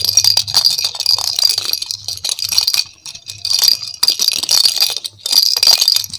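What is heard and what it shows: A hollow, hand-sized pink and yellow plastic ball with cut-out holes and a rattle inside is shaken and turned in both hands. It makes bright, high, dense rattling in bursts, with short quiet gaps near three, four and just past five seconds. The clicks are crisp and die away almost at once.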